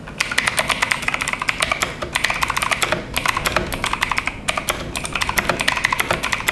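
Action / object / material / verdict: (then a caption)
tap / mechanical keyboard with plastic keycaps and metal plate / plastic / none. Fingertips type fast on a full-size RGB-backlit FMOUSE K904 mechanical keyboard, about 46 cm wide, with Outemu Blue clicky switches, double-shot ABS keycaps and a metal-covered base, lying on a white desk. A rapid, continuous stream of sharp, bright clicks with very short decay rises and falls in brief bursts, with pauses near 2, 3 and 4.5 seconds.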